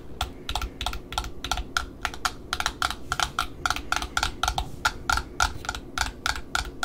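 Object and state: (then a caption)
Cardboard end disc of a ribbon spool. Long metallic nails tap and scratch on the printed Offray cardboard end disc of a black satin ribbon spool held in the hand. A rapid, steady run of dry, crisp clicks with a bright tick is heard, each dying away almost at once. A soft low rumble sits underneath the whole time.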